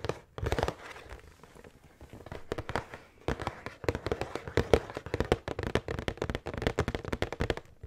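Long painted nails tap and scratch the printed front of a large, hollow cardboard pretzel box held upright with snack bags inside. The result is quick, dry clicking taps in dense bursts mixed with softer scratching between them.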